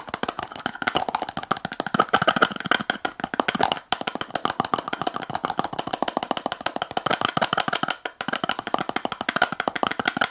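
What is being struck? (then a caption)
Small plastic tub with lid. Long acrylic nails tap rapidly on the lid of a small clear plastic tub full of blue slime. The result is a fast, steady stream of short, dry, clicky taps with a mid-to-high tone and almost no low end, briefly pausing twice before continuing.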